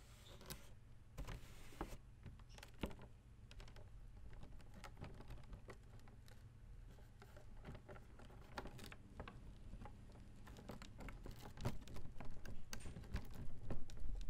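Fingers tap the pleated printed fabric-or-paper leaf of an open folding fan with white plastic ribs and scratch along the plastic ribs near the base. The result is a dense run of short, dry taps and scratchy clicks over a steady low hum. The activity builds louder and busier toward the end.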